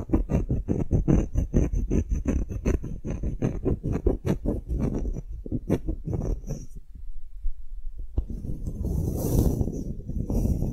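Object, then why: Engraved wooden block tag. Fingernails tap rapidly on the face of a solid engraved wooden block tag, giving dull, low, close knocks for about six seconds. After a brief pause, the nails scratch across the wood in a softer, rustling scrape.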